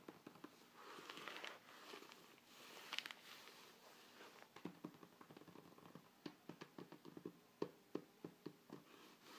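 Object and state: Glossy paper flyer scratched.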